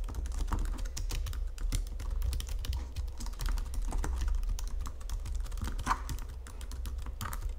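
Fingertips with medium painted nails type steadily on a full-size white and silver Logitech wireless keyboard, its plastic keys set on a flat chassis resting on a marble surface. A continuous run of quick, short plastic clicks and taps patters for the whole clip, sitting over a low, steady background rumble.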